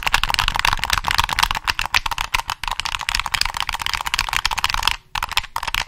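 Fingertips click the triggers and tap the shell of a black, hollow plastic PS3 game controller, seen from the back. Rapid, dense, dry clicks and light taps follow one another with a bright, thin tone and almost no ring. There is a brief pause near the five-second mark before the clicking resumes.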